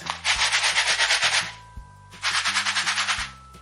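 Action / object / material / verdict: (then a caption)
shake / paper desiccant pack filled with quicklime granules / quicklime granules / none. A 100 g paper desiccant pack of quicklime granules is shaken, giving two bursts of bright, rapid granular rattling with a steady rhythmic pulse. Steady tonal music plays beneath the rattling.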